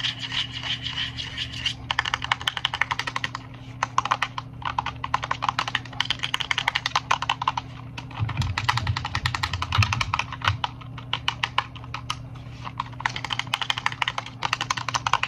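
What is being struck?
Plastic over-ear headphones.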